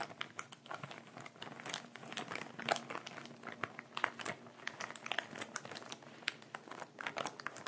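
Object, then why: Plastic zip bag with salt. A clear plastic ziploc bag of sea salt, with the salt settled at the bottom, is held in both hands while fingertips and nails rub and crinkle the empty upper part of the plastic. The result is a quiet, continuous crinkling full of many sharp, bright little crackles and ticks, with almost no low end.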